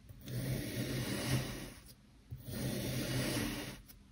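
A long steel knife blade presses and slices down through a small solid dome of black kinetic sand resting on a multicolored sand base on a white surface, leaving layered slices. Two long, soft, gritty rasping strokes are heard, each lasting well over a second, with a low grainy rumble and a faint brighter hiss.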